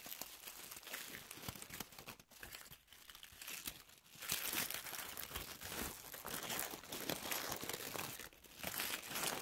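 A white paper tissue sheet held in both hands is crumpled, unfolded and crinkled with long manicured nails and fingertips. It makes a steady, bright crackling rustle with little low end. The sound dips quieter for a moment around two to four seconds, then swells into louder, denser crinkling bursts.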